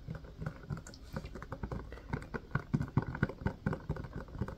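Fingertips tap and squeeze the domes of an empty, hollow blue silicone ice cube tray set in a white plastic frame. The result is a quick, irregular patter of soft, dull, low thuds, each dying out almost at once with no ring.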